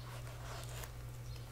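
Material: Nothing is struck.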